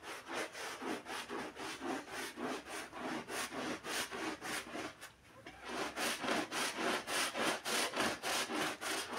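A gloved hand scrubs a wet, foamy black-and-red pile rug with a handheld bristle brush. Steady, rhythmic back-and-forth strokes make a bright, wet rasping swish, with a brief pause about halfway through before the scrubbing resumes.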